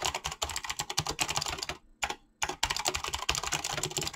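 Fingertips type fast on a mechanical keyboard with clicky switches and PBT plastic keycaps, producing a dense stream of bright, sharp clicks with very short decay. The typing pauses briefly just before the two-second mark, broken by a single keystroke, then resumes at the same rapid pace.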